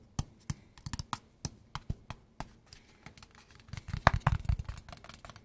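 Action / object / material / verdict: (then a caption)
tap / small cardboard box / cardboard / none. A small, hollow kraft cardboard product box is held in the hands and turned while fingertips and short nails tap its faces and edges. Evenly spaced, dry taps give way to a faster, louder flurry near the end. Each tap has a soft, hollow low thump under a brief click and dies away almost instantly.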